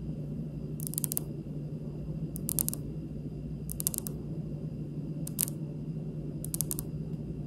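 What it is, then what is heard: Marble countertop tapped with nails. Long pink acrylic nails tap slowly with fingertips and nail tips on a large, solid, speckled marble kitchen countertop. Five short bursts of quick, bright clicking rise over a steady low hum, each cluster of taps fading almost instantly.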